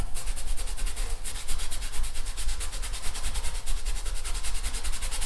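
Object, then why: Stretched fabric canvas on a wooden frame. A long-handled paintbrush is rubbed back and forth across a large painted canvas stretched taut over a wooden frame on an easel. The result is a steady run of rapid, rhythmic, bright scratchy swishes over a low, dull rumble.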